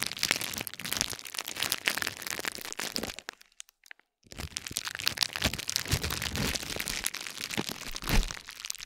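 A silver metal spiked roller, held by the fingertips, is rolled and pressed across a flat stacked pad of green and pink plastic bubble wrap lying on a gold plate. It makes a dense run of bright crinkles and sharp crackles, pauses into near silence for about a second, then resumes for the rest of the clip.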